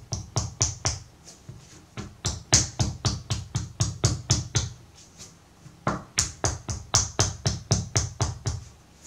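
A solid purple-brown block of soft wet pottery clay, about 12 cm long, is patted and tapped with the palm and fingertips on a wooden table and knocked against the tabletop to square its sides. Many quick, steady dull thuds sound with a low body near 117 Hz and a bright slap on top, each dying away fast. The hits come in bursts with brief pauses between.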